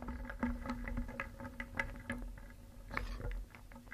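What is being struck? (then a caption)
Small painted wooden pieces in a wooden bowl. A wooden spoon stirs a round wooden bowl filled with many small solid painted wooden cones, eggs and discs, so the pieces clack together. The result is a continuous run of short, dry, bright knocks and rattles, with a steady low hum underneath and a quieter stretch near the end.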